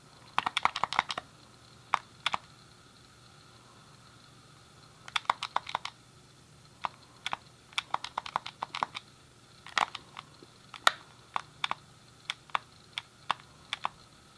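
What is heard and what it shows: A thumb clicks the D-pad and fingertips press the face buttons of a hand-sized, hollow, grey plastic SNES game controller. The result is sharp, dry plastic clicks with a bright, mid-high character and almost no ring, arriving in quick bursts and scattered single taps over a quiet background.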